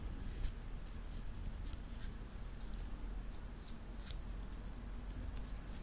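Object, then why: Titanium link watch band. A small, solid wristwatch with a titanium link bracelet is held in both hands in front of a Zoom H6 recorder while the fingertips flex the metal links, clicking and rubbing them together. Bright, crisp metallic clicks and short scraping bursts come in quick clusters over a steady low rumble.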